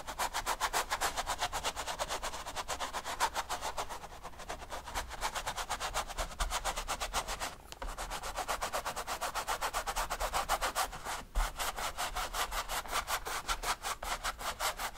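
A flat brush scrubs quick dabbing strokes across a large stretched canvas covered in oil paint, hollow behind the fabric. A steady run of dry, bristly scratches repeats at about four strokes per second with a bright, papery hiss and a faint low drum-like thrum from the canvas. Brief dips in the rhythm fall near 4, 7.5 and 11 seconds before the scrubbing resumes.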